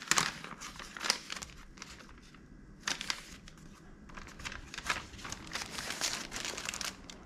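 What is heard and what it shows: A small, empty and hollow red-and-white striped paper popcorn bag is held and crumpled with the fingers. It gives bursts of dry, bright crinkling, with quieter rustling stretches between them.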